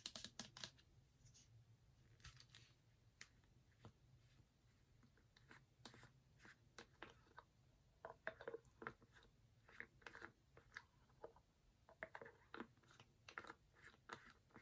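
A white plastic Neutrogena cleanser bottle with a pump top, about 190 ml and filled with product, is held in one hand and tapped and scratched with fingernails. Dozens of quiet, sharp, dry clicks and brief scratches come in uneven bursts over a steady low hum, each dying away almost at once.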